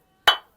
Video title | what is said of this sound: Construction Techniques of Roof Building in Pakistan - Roof Slab Formwork shuttering Accurately | आवाज से पता चलता है ईंट की क्या क्वालिटी है।